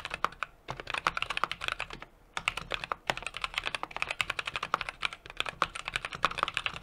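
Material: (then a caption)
Plastic, aluminum. A 60% mechanical keyboard with an aluminum case, brass plate and plastic keycaps is typed on steadily with the fingertips of both hands. It makes a fast run of crisp, bright clicks with very short decay, with a brief pause around two seconds before the typing resumes.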